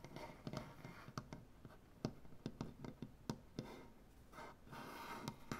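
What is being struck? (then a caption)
Solid wooden butcher-block tabletop. Dark painted nails scratch and tap on a large solid wooden butcher-block tabletop with both hands. Soft, continuous scratching is broken by sharp, dry taps that die away almost instantly, with a low woody body under a brighter rasp. The sound is quiet, and several scratching swells rise between the taps.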